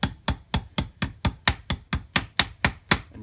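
A steel claw hammer strikes a small steel socket, held by a gloved hand on top of a metal spindle housing clamped in a vise, to drive a bearing into a Stiga Park mower cutting deck. Thirteen sharp, steady metal-on-metal knocks sound at an even pace. Each has a bright, clanking edge near 3.8 kHz and a dull low thud, and dies away almost at once.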